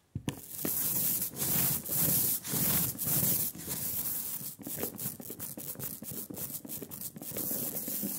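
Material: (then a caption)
Ink. A rubber brayer is rolled by hand back and forth through a velvety black layer of sticky printing ink on a glass slab. It makes a tacky, crackling hiss that swells and fades with each pass. The strokes start long and smooth, then become shorter and quicker.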